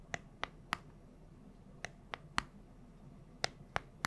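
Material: Plastic.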